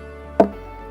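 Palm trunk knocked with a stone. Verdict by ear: Hollow.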